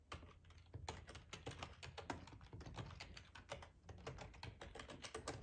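Fingertips of both hands type on a black plastic ergonomic split computer keyboard with a hollow housing, resting on a tablecloth. A steady, quiet stream of short, sharp key clicks rides over a low hollow thump, each tap decaying quickly with bright edges.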